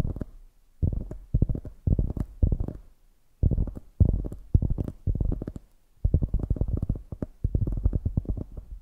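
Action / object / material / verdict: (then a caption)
tap / polyurethane foam squishy donut toy / polyurethane foam / none. Long nails tap and scratch the orange glazed top of a soft polyurethane foam squishy donut. The result is a series of muffled, low, thumping bursts of rapid taps, with short pauses between them and little high-end sound.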